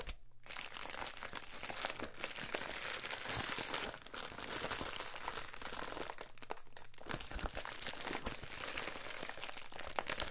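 An Amazon Prime poly bubble mailer lies flat on a counter while both hands press, rub and scratch it with the fingertips. The result is a dense, continuous stream of bright crinkling and crunching with quick, close-up scratches and a low rumble underneath.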